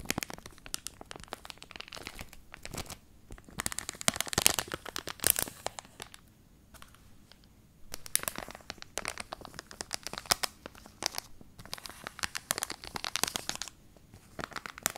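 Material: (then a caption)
Plastic, cardboard. A flat pink card-backed hair clip package with a clear plastic front, held in the hand, is scratched and crinkled with fingernails. Dense, bright crackling and scratching comes in bursts, with a near-silent pause around 6 to 8 seconds and a short break near 14 seconds. There is little low end.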